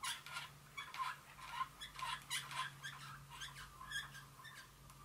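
Long fingernail tips tap a small glass Dior perfume bottle with a metallic top as it stands on a table. About nine quick, light, irregular clicks each carry a brief bright ring near 1 kHz, over a faint steady low hum.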